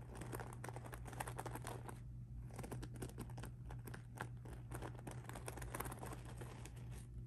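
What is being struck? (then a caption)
Beaded rhinestone mesh handbag. Fingertips and nails scratch and rub the beaded mesh surface of a pink rhinestone mesh handbag lying flat. Dense, crackly scratching and faint ticking run throughout over a steady low hum.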